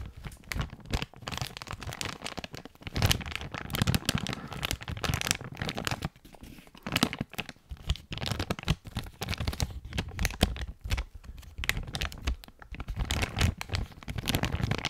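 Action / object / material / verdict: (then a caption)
scrape / thin plastic bag with an item inside / plastic / none. A clear plastic bag with a coiled item inside is held close to a microphone and crinkled and rubbed with fingertips. Dense, crackly crinkling and rustling bursts come and go over the whole clip, with bright crackle on top, a low rumbly handling thump underneath, and short quieter gaps between handfuls.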